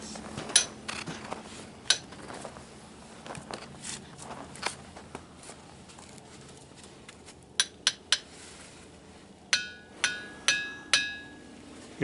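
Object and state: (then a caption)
Ringing rocks struck with a hammer. Boulders at the Ringing Rocks site in Montana are struck with a hammer to make them ring. A series of sharp, high-pitched metallic clinks sounds out, each with a brief bell-like ring. The final strikes ring longer, with a clear sustained tone.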